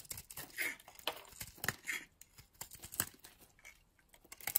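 A metal blade cuts and scrapes chips off a solid red and purple oval bar of soap held in the hand. Quiet, bright, crackly scrapes and flaking crunches come in a series of short bursts, with thin, crisp shaving noise between them.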